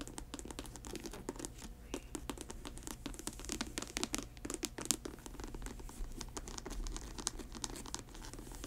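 Long white nails scratch and tap the grey patent leather and mesh upper of a grey patent leather sneaker held upright on its heel. Dense, dry clicks and scratchy rasps repeat quickly over a low steady hum, with bright sharp transients and no ring.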